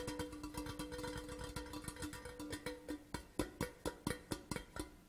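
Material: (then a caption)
Metal. An empty, large hollow printed metal Port Charlotte whisky tin tube lies horizontally and is tapped quickly with the fingertips of both hands. Dense, fast taps give a hollow, tonal ring around 300 Hz. Toward the end the taps become more spaced out, sharper and louder.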